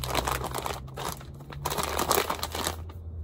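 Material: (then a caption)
Plastic film. A full, medium-size Kinder Bueno Mini bag made of printed plastic film is held in both hands and crinkled by the fingers for about three seconds. It gives a continuous, dense crinkling and crackling with brief louder bursts over a steady low hum, then quiets at the end.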